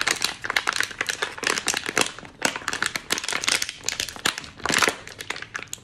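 An empty, crumpled, small clear thin plastic water bottle with a pink cap is held in both hands and squeezed and crinkled with the fingers. Dense, bright crackling crinkles come in quick bursts with short pauses, almost no low end, and each snap dies away almost instantly.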